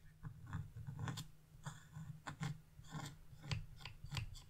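A metal chisel held in a hand with blue-painted nails scrapes leaf shapes into a flat, black-coated scratch-off art page, leaving scraped-off flakes behind. Short, rasping strokes repeat in quick bursts, each with a low, dull body and bright, gritty scratch streaks that stop almost at once.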